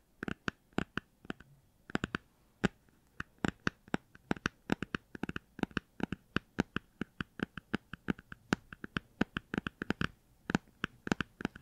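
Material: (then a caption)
Cardboard. Fingers tap rapidly on the cardboard cover of a hardcover children's book, possibly a Star Wars book, producing dozens of short, dry, crisp taps in an uneven rhythm with brief pauses. Faint scratchy rustles fill the gaps between the taps. The result is a really nice tapping sound.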